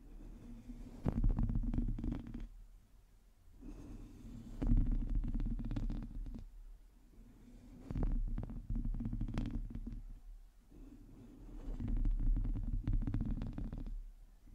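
Long teal nails on both hands scratch the hollow domed metal mesh grille of a black microphone, making close, low rumbling scrapes with dense crackling ticks. The scratching comes in about four longer bursts separated by quieter pauses, and most of the energy sits deep in the low end.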